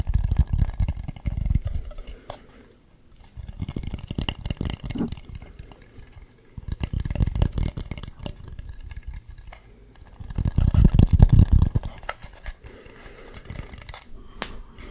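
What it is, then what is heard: Carved wooden mask. Fingernails scratch and tap the carved face of a hollow carved wooden mask held up close to the mic. Bursts of dense, low, muffled scratching and knocking come in three main clusters separated by quieter pauses, with short dry taps that die away almost instantly.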